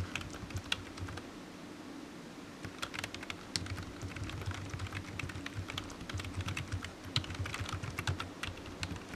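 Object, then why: Plastic computer keyboard. Fingertips type steadily on a black plastic low-profile computer keyboard, producing a continuous run of quick, bright key taps with sharp clicks that die away almost instantly. A steady low hum sits underneath the typing throughout.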